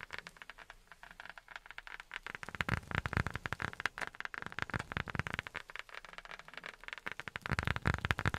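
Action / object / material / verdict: tap / rubber sheet tapped with silicone pads / rubber / none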